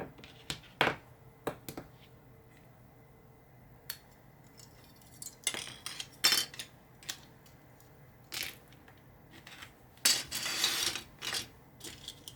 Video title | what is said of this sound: Just a simple build This red will make you kneel / Ferrari 312T / Niki Lauda / Tamiya 1/12 ASMR | 備長炭を叩いたように乾いた音が深夜に響きます